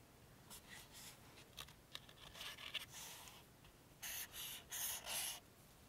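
A red felt-tip marker draws boxes and marks across a two-page spread of an open softcover paperback book with thin printed paper pages, lying flat on a table. Its tip rubs and scratches the paper in quiet, irregular short strokes, then finishes with four longer, louder, bright scratching strokes.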